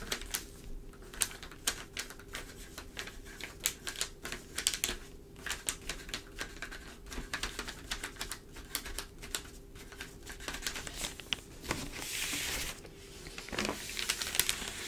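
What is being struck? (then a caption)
Newsprint newspaper on a table. Long, pointed dark nails tap rapidly on an open newsprint newspaper spread flat on a table, making quick, dry, bright clicks with a faint steady hum underneath. Near the end, the nails scratch and rub along the pages, producing a louder, papery hiss with slight page handling.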